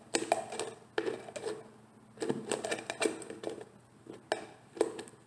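Long painted nails tap, scratch and twist the white screw lid of a hollow, medium orange-labelled plastic cosmetic jar held in one hand. The result is bursts of sharp, quick clicks and taps with a hollow mid-pitched ring, separated by brief scratchy pauses.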